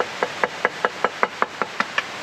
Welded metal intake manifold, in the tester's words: as new passes the knock test